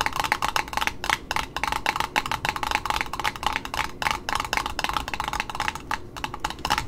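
Long pointed nails tap the top cardboard end disc and its edge on a small red satin ribbon roll held in hand on its spool. The result is a quick, steady run of dry, hollow clicks, each dying away almost at once, with a woody ring around 840 Hz and a bright, crisp top.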